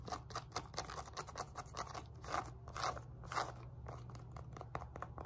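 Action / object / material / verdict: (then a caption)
scrape / woven elastic resistance band with rubberized label / woven fabric / none. Long nails scratch a black and pink woven elastic fabric glute resistance band resting on a lap, raking across the woven fabric and its rubberized label patch. The result is a fast, irregular run of dry, crunchy scraping strokes with a bright edge, some bursts louder than others, over a steady low hum.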